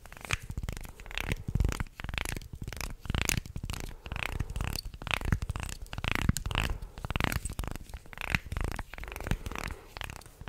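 A wooden segmented, articulated shark toy is held close to the microphone while fingers flex it and fingernails scratch along the ridges of its segments. The result is a dense, continuous run of dry clicks, rasps and scratchy grinding with a heavy low, close-up body and short, bright, crackling edges that die away almost instantly.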